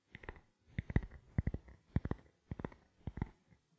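A small, black, hollow plastic camera lens cap is held close to the microphone and tapped with the fingertips. Quick, dull, low-pitched taps come in short bursts of a few each, separated by brief pauses. Each tap dies away almost instantly, with only a faint bright click on top.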